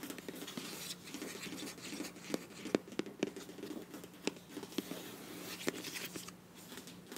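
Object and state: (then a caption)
Plastic squeeze tube. Long nails scratch and tap the back label side of a filled beige plastic face wash tube with a bronze cap. Steady soft scratching is broken by short, dry, sharp taps that die away at once, with a bright hiss over a hollow midrange tone.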